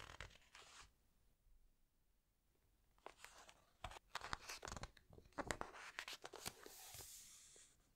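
Fingertips squeeze the glossy pages of a large open hardcover book and lift a page to turn it. Crisp, bright paper crinkles and sharp snapping ticks come in bursts, with a near-silent pause early on before the handling grows busier. It ends with a longer sweeping rustle as the page turns over.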